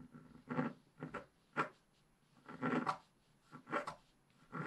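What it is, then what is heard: Scratch-art paper being scraped. A wooden stylus scrapes the bottom foliage area of a flat black-coated scratch-art paper sheet held by a hand. Short, dry, raspy scratching strokes come in an irregular series, separated by quiet pauses.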